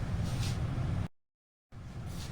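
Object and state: Nothing is struck.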